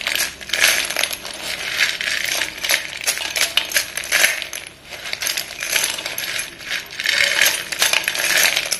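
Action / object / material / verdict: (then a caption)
shake / pile of chalk sticks in a stone bowl / chalk / none. Bare fingertips and palms dig into and stir a pile of many solid white cylindrical chalk sticks in a dark stone bowl. The sticks clink and rattle against each other in a dense, continuous stream of bright, short clicks that swell and ease as the hands move. There is almost no low end.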